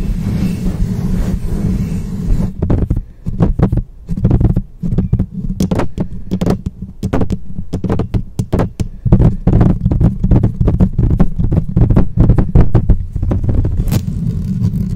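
Long painted fingernails on both hands quickly tap, scratch, swirl and rub over the rounded metal mesh grille of a black condenser microphone with a hollow head. The result is a fast, dense run of deep, boomy thumps and scrapes over a steady low hum, with occasional sharper, brighter ticks.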